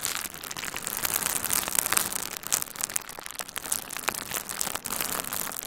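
A hand-sized bundle of pink and red plastic bubble wrap with hollow, air-filled bubbles is held and squeezed with the fingertips of both hands. It makes a steady, bright crinkling and crackling texture, dotted with sharp little pops that stop almost instantly.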